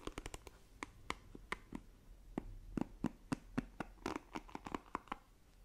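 Long nails scratch across the plastic bristles of a black plastic paddle hairbrush, making a run of quick, dry, bright scratching clicks. About 22 short strokes come in uneven bursts, each stopping dead with no ring, over a quiet background.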